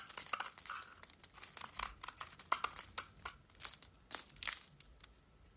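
A flat metal blade scrapes and carves pink soap curls off a solid rectangular soap bar with a silver-painted surface and a pink layer, held in one hand over newspaper. The sound is a quiet run of short, dry, crackly scraping bursts with a bright, high hiss and almost no low end.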